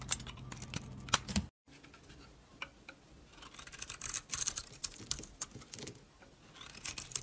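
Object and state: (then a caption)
Dry bar soap being shaved. A utility blade shaves curls off the embossed face of a solid square Dalan bar of dry soap with a red-and-yellow coating, held in the hand. Dry, bright scraping and crisp little ticks with almost no ring come in uneven bursts, broken by a short silence near the start.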